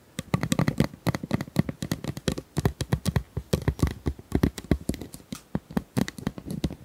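A hollow, flexible, corrugated pink plastic pop tube about 30 cm long is held in both hands while long nails scratch and tap along its ribs. The result is a rapid, uneven stream of short, dry, clicky taps with a hollow low thump and almost no ring.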